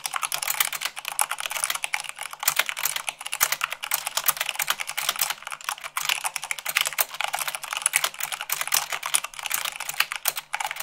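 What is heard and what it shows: Fingertips with long pink nails type fast, at about 98 words per minute, on a full-size mechanical keyboard with white plastic keycaps on a black frame. A dense, continuous stream of short, bright clicks and clacks with almost no low end, each keystroke dying away almost instantly.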